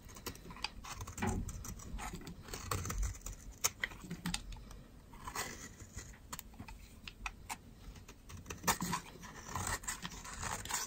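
A metal utility knife blade shaves flakes off the side of a solid white bar of dry soap held in fingers with long red nails. Many short, crisp scraping cuts and bright ticks follow one another irregularly over a soft low rustle. Each cut stops dry with almost no ring.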